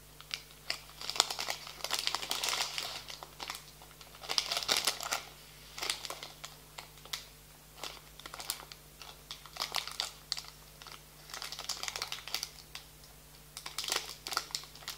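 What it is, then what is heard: Plastic-wrapped snack bar being crinkled. A full, hand-length snack bar in a green plastic-foil wrapper is held in both hands while fingertips squeeze and rub it. Bursts of bright, sharp crinkling and crackling come in uneven clusters with short quiet gaps, over a faint steady low hum.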